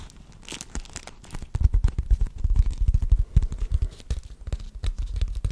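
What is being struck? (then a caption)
Wax-coated cloth wrap. A purple wax-coated cloth beeswax food wrap, held in both hands, is rubbed, crinkled and folded by the fingers. Soft rustling for the first second and a half gives way to denser, louder crinkles and crackles, each snapping off quickly with a dull, low-heavy body and an irregular rhythm.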